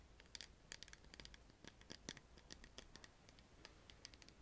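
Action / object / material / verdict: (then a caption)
tap / small plastic cosmetic bottle with screw cap, filled with liquid / plastic / none. A small clear plastic The Body Shop cosmetic bottle with a black screw cap and a pink round label, filled with clear liquid, is held in both hands and tapped and scratched by long painted nails. A quick, irregular run of bright, dry clicks and scratchy ticks plays over a faint low hum, each tap dying away almost instantly.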